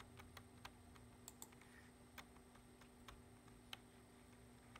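Fingertips tap steadily on a black plastic computer keyboard resting on a wooden desk while typing. About twelve short, sharp, bright key clicks stand apart, each dying away almost instantly. They sit over a quiet, steady low hum.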